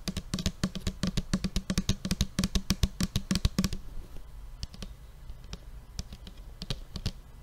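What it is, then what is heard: Plastic paint bottle tapped. A large blue plastic tempera paint bottle with a white cap, hollow and apparently full, is held up and tapped with fingertips and fingernails. Quick, dry taps with a low, hollow thump and bright clicky edges fall rapidly for about four seconds. They then thin out into softer, scattered taps.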